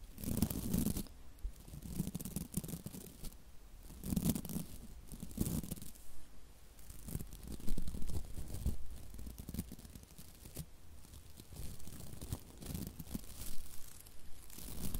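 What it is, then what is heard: Plastic-bristle scrub brush. Long nails flick and scratch the stiff white plastic bristles of a hand-sized scrub brush held close to the mic. The result is soft, dense, crackling scratches and bristle flicks that come in uneven bursts. The sound is quiet and mostly low in tone.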